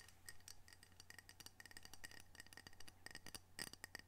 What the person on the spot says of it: Gentle tapping, scratching, and rubbing of ceramic coasters with unique art representing the Pacific Northwest.